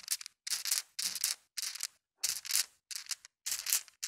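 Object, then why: Glass marbles in a mesh net. Small, solid, colored glass marbles in a white mesh net are swung and shaken against carpet, clacking together. About eight separate bursts of bright, rattling clatter come with short silences between them, each dying away quickly.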